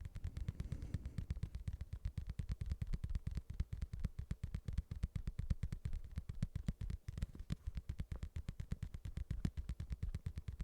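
A padded boxing glove is tapped rapidly and continuously with fingertips. It makes a steady stream of soft, dull, low thumps that stop almost instantly, with no ring and no high-pitched content.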